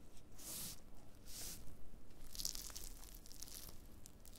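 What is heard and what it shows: Black-gloved fingers press, rub and scratch thin, brittle, brown pieces of dried black fungus (wood ear mushroom) on a white cutting board. The result is quiet, dry crackling and crunching with bright, tearing hiss in irregular bursts.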